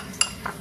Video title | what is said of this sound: Permainan di sekitar sekolah dan benda-benda yang ada di tempat wisata | ciri benda padat ketika kita ketukan akan berbunyi seperti ini